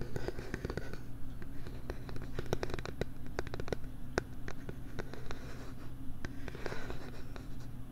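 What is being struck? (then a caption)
Plastic LCD writing tablet. A stylus or fingernail scratches and writes across the screen of a small, flat, solid pink-framed plastic LCD writing tablet held by hand right at a binaural mic. Sharp dry ticks and taps are heard over a steady, low, rumbling scratch, with the sound staying close and even throughout.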